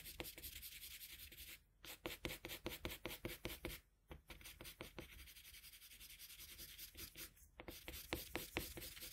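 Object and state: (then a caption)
Colored pencil shading on drawing paper. A colored pencil rubs back and forth across a flat sheet of drawing paper while shading, making bright, scratchy strokes in a quick, uneven rhythm. The strokes run almost continuously, with brief pauses near 1.7, 4 and 7.6 seconds before the shading resumes.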